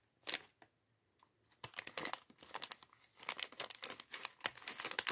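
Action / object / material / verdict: shake / plastic bag of plastic bricks / plastic / none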